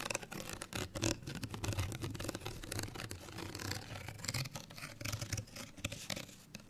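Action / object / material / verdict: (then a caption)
scrape / small folded paper card tag / paper card / none. A small folded, printed paper card hang tag, held up close, is scratched with long nails. Dense, rapid bursts of crisp, bright scratching run throughout, over soft low rubbing thumps from handling the card.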